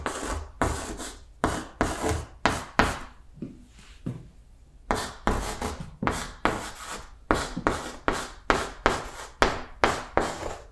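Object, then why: Chalk on a blackboard. Blue chalk writes numbers on a green chalkboard in 19 short, bright scratching and tapping strokes, with a quieter pause in the middle. Each stroke has a sharp start and fades quickly.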